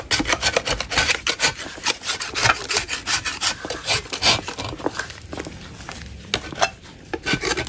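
A gloved hand scrapes a solid chalk block with a metal putty knife in a rapid run of short, dry, raspy strokes that sound bright and gritty. The scraping softens into a quieter stretch around the middle of the clip, then ends with a few sharper, louder strokes.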